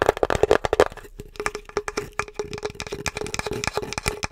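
Long acrylic nails tap across the surface and edges of a small, flat, solid painted wood or MDF Halloween sign plaque with a pumpkin and "Happy Spooktacular Halloween" design. The result is a rapid run of sharp, dry clicks that die away almost instantly. A faint wooden tone sits around 430 Hz, with a busier, louder burst of taps at the start.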